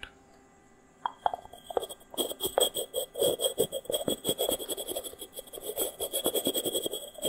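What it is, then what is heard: Terracotta clay pot. A small, hollow, unglazed, dry terracotta pot made of stacked rounded sections is held near the mic and tapped and scratched with fingernails. After a second of near silence, sparse hollow taps begin, then quickly become a dense stream of short, dry clicks and scratches. The knocks have a midrange hollow tone with a bright, crisp scratchy edge.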